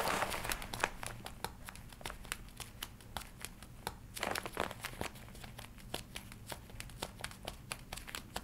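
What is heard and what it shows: Fingertips and nails scratch, tap and crinkle a worn red-and-black smooth leather jacket with metal D-rings at the shoulder and chest. A steady series of sharp, bright clicks and taps runs over a soft crinkling rustle, with a louder burst of crinkling near the start and again around the middle.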